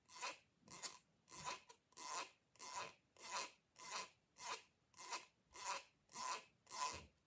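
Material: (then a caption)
Plastic. Fingers and long nails rub and scrape along the corrugated ridges of a short, hollow, purple ribbed plastic pop tube held upright. Twelve even raspy strokes, plus one brief extra scrape early on, come at a steady pace of about a hundred a minute. Each is a bright, hissy filing sound with a faint tone near 1 kHz and almost no low end.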